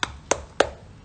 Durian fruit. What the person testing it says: ตอนเนี้ยแข็งโป๊กเลย